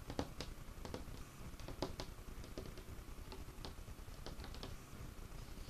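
Fingertips and short nails of both hands tap on the top of a large, solid, dark wood table. Quick, dry clicks and soft knocks come at an irregular patter over a low, steady background rumble. Each tap dies away almost at once, keeping the sound quiet and close.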